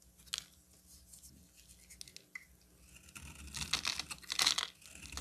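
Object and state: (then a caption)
Bar soap being scraped. A solid pink rectangular bar of soap, held in the hand, is scraped with a metal utility knife blade into shavings. Light, scattered scratches and soft ticks come first, then the scraping grows louder and denser after about three seconds into bright, crisp, rasping strokes.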